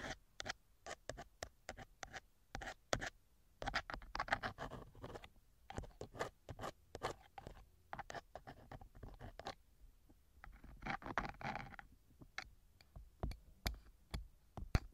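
A thin metal ear pick, held by hand, scrapes inside the canal of the left silicone ear cover on a TASCAM binaural microphone, its metal tip rubbing the soft silicone. Many short, dry scratching strokes come through close and quiet with a low rumble beneath, with denser bursts of rubbing in places.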